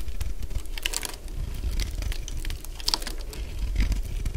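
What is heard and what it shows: A solid purple dry bar of soap, held in the hand, is scraped with a utility blade into flakes. Dense, dry crunching and crackling scrapes come in quick overlapping strokes with bright, brittle edges over a low rumbling undertone.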